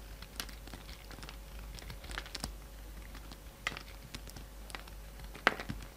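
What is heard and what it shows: A hand-sized solid peach bar of soap is held in the hand and carved with a steel utility-knife blade, scraping and cutting into it. Quiet, crisp scrapes and short crackly cuts come in scattered bursts, with a few sharper snaps standing out. Underneath runs a faint steady hum and low background rumble.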